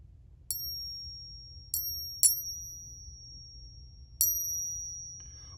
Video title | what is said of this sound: FAKE SILVER COINS at Local Estate Sale & 1800’s LOVE TOKENS !!! | way more high pitched that is really unfortunate